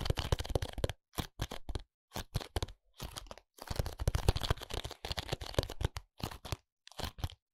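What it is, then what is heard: Cardboard contact lens box. Fingertips tap and scratch the front and edges of a small, flat, printed cardboard contact lens box held in the hand. The result is dry, crackly tapping and scraping in quick clusters, separated by brief silences, with soft low thuds under a papery rustle.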